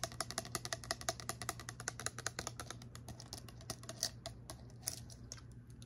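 A tall, narrow, clear glass-looking bottle with a silver screw cap, hollow and holding some liquid and small objects, is held in the hand and tapped and scratched with long fingernails. Rapid, dense, bright clicking taps and short scratches fill the clip over a steady low hum. The taps thin out slightly toward the end.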